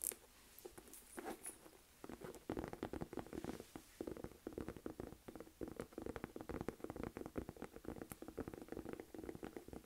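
A small, hollow olive green Michael Kors saffiano textured leather crossbody bag is held up in both hands while long nails tap and scratch its flat front surface. Quiet, dull, rapid taps with almost no ring are mixed with soft scratching. A few brief bright clicks stand out near the start.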